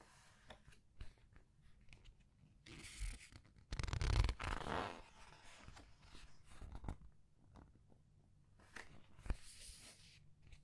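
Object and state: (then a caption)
Paper pages of a large book. Paper pages of the same large art book are turned and rubbed with fingertips and red nails. Soft, dry rustles and light ticks run throughout, swelling into louder, bright papery swishes around the third to fifth second as a page turns, with a faint low rumble underneath.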